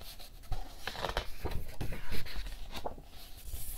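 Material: Paper.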